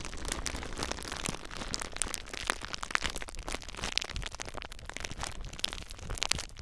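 Fingertips with short nails squeeze clear plastic bubble wrap bundled around a recorder, popping the bubbles. A steady, dense crinkling runs throughout, broken by sharp, bright pops that die away almost instantly, with a low handling rumble underneath.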